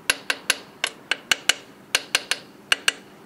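A steel-headed inspection hammer with a wooden handle taps the solid steel wheel nuts on a truck's aluminum wheel in turn to listen for looseness. Twelve sharp, bright metallic ticks ring with a high pitch and die away almost instantly.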